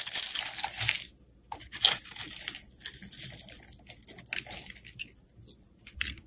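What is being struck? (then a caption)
Bar of black soap shaved with a metal blade. A metal blade shaves slices off the surface of a solid black soap bar held in the hand. Bright, crisp scraping and crunching strokes come in irregular bursts with short quiet gaps between them, and there is almost no low-end body.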